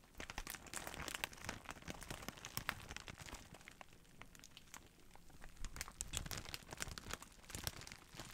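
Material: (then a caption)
Plastic. A large clear plastic bag of bubble wrap is held in both hands while fingertips squeeze, scratch and crinkle the plastic. Dense, steady crinkling is broken by many sharp, bright crackles and snaps. The sound eases to a softer rustle in the middle before building back up to busy crinkling.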